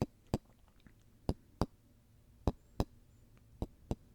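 Golf balls are tapped and handled, giving eight short, sharp knocks that come in pairs at an uneven pace. Each tick dies away almost instantly over a low, quiet background.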